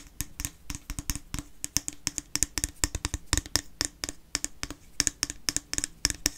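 A small white plastic cream jar with a lid, held in the hand, has its lid tapped and scratched with fingernails. The result is a quick, uneven run of short, crisp plastic clicks and ticks, bright and dry with almost no ring, separated by faint scratching.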